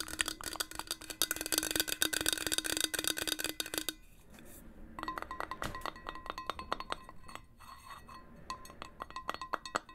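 A hollow, marble-pattern stainless steel insulated water bottle with a metal cap is held in the hands and tapped with long nails and fingertips. A fast, dense flurry of bright clicking taps with a low ringing tone gives way to a brief quieter pause. Lighter, sparser taps follow, each carrying a clear metallic ring around 1 kHz.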